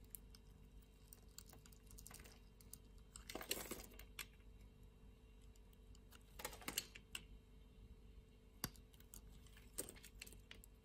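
A solid light blue bar of soap, held in a hand with long nails, is shaved and carved with a utility knife blade. Crisp, bright scraping and clicking cuts come in short, dry bursts, heaviest around the middle and again later, over a faint low steady hum.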